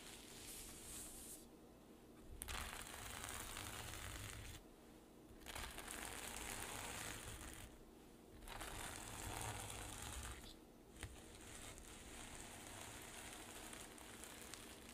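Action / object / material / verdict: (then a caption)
scrape / sequin fabric pouch / plastic sequins / none. Long nails scratch across a rainbow reversible-sequin fabric pouch, and palms rub the sequins flat and brush them back. The result is a dense, bright, crinkly rustle that runs in sustained sweeps, broken by brief quieter gaps. A faint steady low hum sits underneath.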